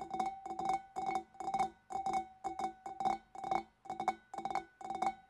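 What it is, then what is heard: Glass fish bowl. Long dark nails tap rapidly on the rim and shoulder of a large, clear, empty, hollow glass fish bowl. Quick clusters of bright clicking taps come in short bursts with brief pauses between them. Each burst rings with a steady glassy tone near 760 Hz that fades quickly.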